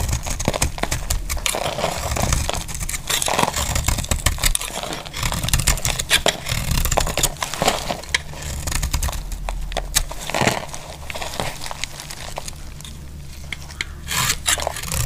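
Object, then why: Bar of soap shaved with a metal blade. A metal utility blade shaves flakes off a solid, dry green soap bar held in a hand with long nails. Dense, crisp scraping and crackling strokes follow one another quickly over a steady low hum, with brief bright clicks standing out.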